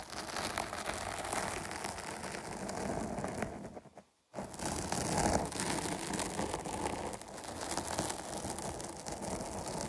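Long nails tap and scratch the top and then the sides of a dark foam microphone windscreen, producing a dense, broadband rustling crackle with bright hiss. The scratching pauses into near silence for about half a second around the four-second mark, then resumes just as busy until the end.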